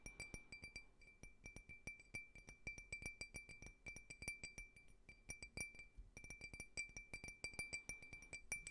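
A small, clear, faceted drinking glass, hollow and empty, is held near the mic and tapped rapidly with fingernails. The glass gives off dozens of quick, bright clinks with a steady ring near 2.3 kHz that fades almost at once. Brief pauses break up the tapping.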